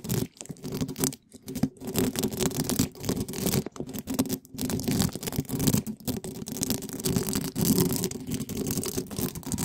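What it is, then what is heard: Metal mesh microphone grille being scraped. Gloved hands rapidly rub two small spiky plastic balls against the sides of a hollow black metal mesh microphone grille. The result is a dense, continuous scratching and brushing texture with a heavy low-mid rumble and a fainter bright hiss, broken only by brief pauses.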